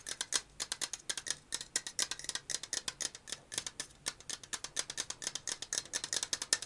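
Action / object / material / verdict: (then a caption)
tap / metal aerosol can / metal / none. A black and purple cylindrical metal aerosol deodorant can, held sideways, is tapped and scratched with a fingernail. The result is a fast, steady run of about 48 short, bright clicks and scrapes, each dying away almost at once, with almost no low end.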